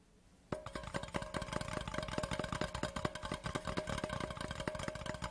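A large, empty, hollow cardboard Laphroaig whisky gift tube lies on its side on a cloth and is tapped fast with the fingertips and short nails of both hands. After a brief quiet moment, a steady stream of rapid, hollow, dry taps with light nail clicks begins. It continues evenly to the end with a faint ringing tone under the taps.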